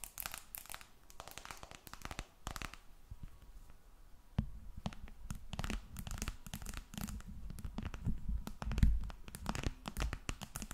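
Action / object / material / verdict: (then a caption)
tap / smartphone with glass back and metal edges / glass, aluminium / none. A glass and aluminum smartphone held flat above the microphone has its glass back and metal edges tapped and scratched by long red nails. Quick, dry clicks and scraping bursts come in irregular clusters, growing denser and fuller after the first few seconds with a soft low thump beneath them. Each tap dies away almost instantly.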